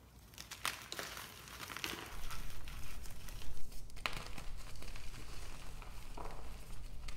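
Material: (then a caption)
Magnesium carbonate. Small solid white pieces of gym chalk (magnesium carbonate) are crushed and crumbled in both hands over a mound of chalk powder, squeezed and rubbed into dust. Dry crunching and crinkling crackles with a few sharp snaps rise and fall over a steady low hum.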